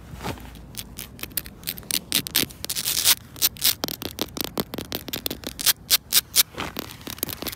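Long pointed nails scratch and rub quickly across the textured granules of a flat, solid poured rubber-crumb playground surface. Dozens of short, bright, crackly scrapes follow one another in fast bursts, with almost no low-end body and no ringing after each stroke.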